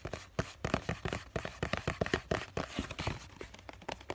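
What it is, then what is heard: Cardboard tissue box. Fingertips and short nails tap and scratch the side and edge of a small hollow cardboard tissue box with a green floral print, held close. Quick, dry taps come in a rapid, uneven stream, each a short hollow knock that dies away almost at once, with soft scratchy rustling between them.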